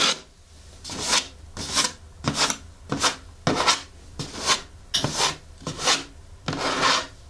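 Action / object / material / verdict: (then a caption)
scrape / cardboard shoe box lid / cardboard / none. Long fingernails scratch and tap the closed lid of a blue printed cardboard shoe box for Hoka Clifton 8 running shoes, resting on a table, and briefly hold it by its sides. Eleven separate bright, rasping scratch strokes are heard, each a short dry rub with little low end that stops quickly between strokes.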